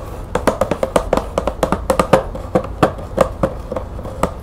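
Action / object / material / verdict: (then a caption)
tap / cardboard box with plastic window / cardboard / none. Long nails rapidly tap and scratch the top edge of a green cardboard bulb box with a clear plastic window. About twenty quick, dry taps ring briefly with a hollow resonance around 530 Hz, set against a soft, continuous scratching hiss.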